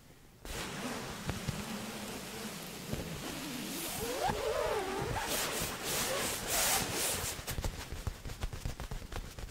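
A blue quilted padded fabric laptop sleeve lies flat while both hands scratch and rub its soft padded surface with long nails and fingertips. The result is a continuous soft, brushy scratching and rustling with a bright, airy hiss. Toward the end, sharper scratches come through more clearly.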